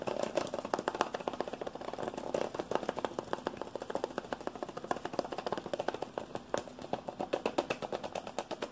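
A hand-sized, hollow white and green plastic deodorant container is tapped and scratched fast with fingertips and nails. The result is a steady stream of dozens of quick, dry plastic clicks and scrapes in the midrange, with very little low end and almost no ring after each hit.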